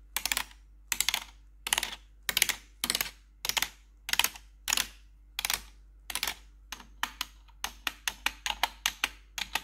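Gloved fingers with long metal claw nails tap the keys of a black plastic, RGB-backlit computer keyboard. Short bursts of bright, clattering clicks come in steady clusters, then give way to faster, separate sharp taps near the end. Each click dies away almost instantly, leaving a faint low hum beneath.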